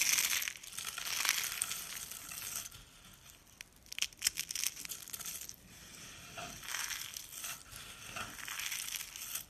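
Bare fingers crush and rake dry purple soap flakes and rolled soap roses, solid and brittle, on a countertop. A dense, bright crunching and crackling fills the clip, with sharper snapping bursts near the start and middle and softer raking rustle in between.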